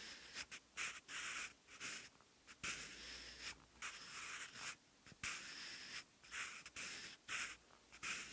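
A wooden graphite pencil held in the fingers writes handwritten Korean text on lined, textured cream notebook paper, seen close up. Bright, dry scratching strokes come in short bursts separated by brief pauses, with almost no low end.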